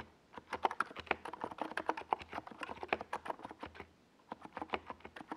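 Fingertips of both hands type on a compact 68-key NiZ Plum Atom 68 mechanical keyboard with a white plastic case and tall purple and yellow Domikey Gas Attack SA plastic keycaps, resting on a desk pad. A rapid run of short, clacky keystrokes centered in the mids pauses briefly near the four-second mark, then resumes. Each keystroke stops almost instantly with no ring.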